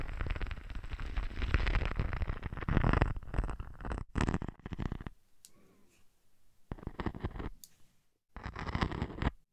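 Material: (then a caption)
Sequins. A hand with long nails rubs and scratches the surface of a teal sequined textured sheet draped over a dummy head. Dense, rustling scratches run for the first four seconds, then return in several shorter bursts separated by near-silent pauses, with a broad, bright hiss over a heavy low-end rumble.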